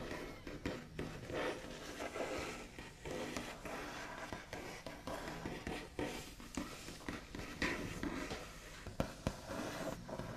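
The backs of long nails on both hands tap and trace across a solid, flat white-finished wooden tabletop. Quiet, dry clicks and knocks come quickly and unevenly over a steady scratchy scraping texture, with brief bright transients and almost no ring.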